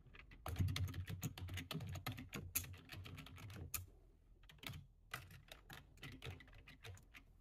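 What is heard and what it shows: Fingertips of both hands type on a full-size black plastic computer keyboard resting on a desk, pressing the keys in quick bursts. Dense clicks with bright tops and a low, thumpy body run steadily for about four seconds, then a short lull gives way to lighter, more spaced-out key presses.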